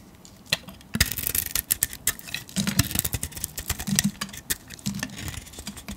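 A metal blade shaves the glittery grey painted coating and cream soap off a solid soap bar held in the hand. The result is a quick, irregular series of crisp, bright scraping and crackling strokes that stop short with no ring, over a faint low rumble.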